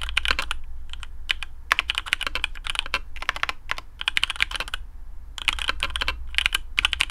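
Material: Plastic.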